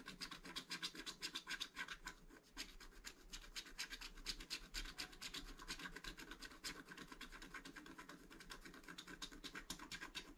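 A wooden stylus rubs and scratches the upper right motif on a flat black-coated scratch art card while the other hand holds the card steady. Rapid, dry, bright scratching strokes come about four per second in an uneven rhythm, with short rasping bursts that die away at once and a faint low rumble underneath.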